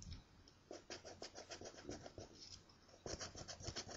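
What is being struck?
Paper scratch-off ticket scratched with a coin.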